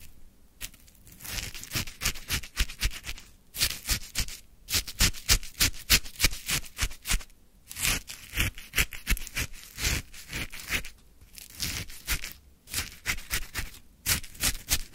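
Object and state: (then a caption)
Shaved ice scraped with a wooden stick. A wooden stick scrapes and lifts chunks of icy crystals from a full plastic cup of lemon frozen shaved ice. Bright, crunchy scraping comes in rapid, uneven bursts separated by brief pauses.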